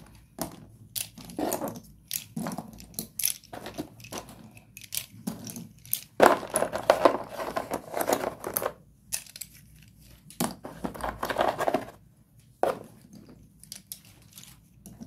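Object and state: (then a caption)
Broken slate pencil pieces. Hands scoop and crumble a pile of solid broken slate pencil pieces in a cardboard box. Repeated bursts of dry, gritty crunching and clattering come in short clusters separated by brief quiet gaps, with bright, crisp textures and little low end. The loudest, densest crunching comes around the middle of the clip.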